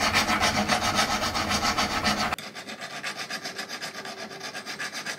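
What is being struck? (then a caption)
Thick silver ring band filed with a steel hand file. A thick, solid silver ring band, held by fingers against a wooden bench pin, is scraped with a steel hand file in quick, steady back-and-forth strokes. The rasping is bright and gritty with little low end, and it drops abruptly to a quieter, thinner scrape about halfway through as the filing continues at the same pace.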